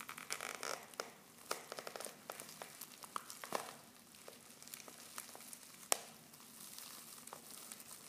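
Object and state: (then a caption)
Foil tea pouch being crinkled. Fingertips and long painted nails crinkle and squeeze a silver foil Pickwick tea pouch, half full of loose tea leaves. Quiet, bright crinkling and crackling come in irregular bursts, with sharp dry snaps and almost no low end.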